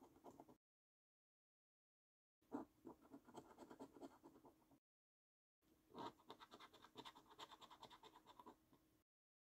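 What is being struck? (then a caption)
Paper scratch card with scratch-off coating. A coin scratches the scratch-off coating on a thin, flat paper scratch card. Three bursts of quick, rasping scrape strokes are separated by silent gaps. The sound is dry and gritty, with a low-mid body and faint bright edges.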